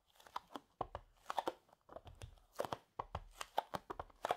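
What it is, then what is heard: Duct tape roll. Fingertips and short nails tap and drum on the top face and edge of a medium roll of green cloth-backed duct tape with a cardboard core, lying flat on a grey knitted mat and possibly still in thin plastic wrap. The result is a quiet, irregular run of short, dry, midrange taps with a faint crinkly, crunchy texture, each stopping instantly with no ring.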